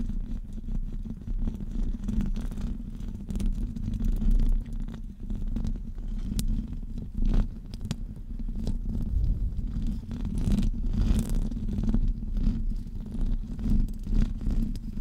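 A hollow metal wire-mesh microphone grille is scratched on top with the fingertips and nails. The result is a steady, dense, muffled rumble of low scraping and thumping, with brief crackly bursts scattered throughout.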